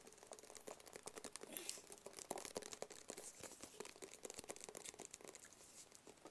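A small, rigid, hollow black cardboard Tommy Hilfiger gift box is tapped quickly with the fingertips and nails of both hands. The result is a quiet, rapid, irregular patter of dry, short taps and bright, crinkly clicks with almost no ring or low end.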